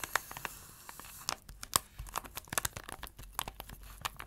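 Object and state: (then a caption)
Plastic tray scratched. Fingertips and nails scratch across the surface and edge of an empty-looking round blue plastic tray with a printed photo under a clear plastic cover. The result is a quiet run of dry, crinkly scratching broken by sharp, bright plastic ticks and clicks that die away almost instantly.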